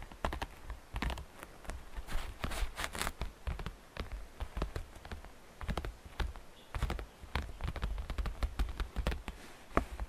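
Fingernails tap the sides and edges of a hollow, transparent green glitter plastic basket with faceted sides. The result is a quiet, rapid run of short, dry clicks and taps with brief bright edges and a soft low thump beneath, each tap dying away almost instantly.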